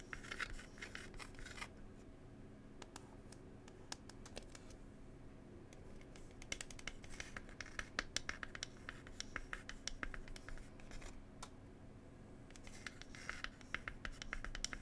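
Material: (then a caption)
Wood. Long pointed nails scratch and tap the wooden lid of a small hollow wooden "Cherry Tea" box. Bursts of dry, bright scratching at the start, middle and end are broken up by many sharp, quick taps that die away almost instantly. A faint steady low hum runs underneath.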